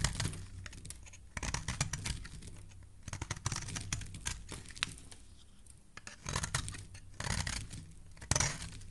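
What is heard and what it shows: A solid pink soap bar, held in a hand with lilac nails, is shaved with a metal blade. Crisp, crackling scraping strokes come in bursts with short pauses between them, over a steady low hum. Each stroke has a bright, crumbly texture.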